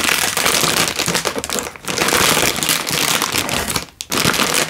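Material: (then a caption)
Plastic film. A hand-sized, sealed plastic-film instant noodle packet, full with a dry noodle brick inside, is held in one hand and crinkled and squeezed with the thumb and fingertips. The result is dense, bright, nearly continuous crackling and crinkling, with brief quieter dips near 1.8 and 4 seconds.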